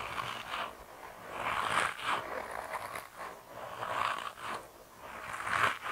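A hand-sized grey soft rubber mouse toy, solid and flexible, is squeezed and kneaded between thumbs and fingers. It gives off four drawn-out, rubbery squeaking and creaking swells centered in the midrange, with brief bright scraping edges. Each fades quickly between squeezes.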